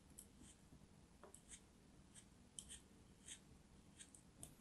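A solid molded chunk of orange kinetic sand, held in a hand with long nails, is sliced with a small dark knife. A series of quiet, crisp, high crumbling scratches and cuts sound over a faint low background rumble.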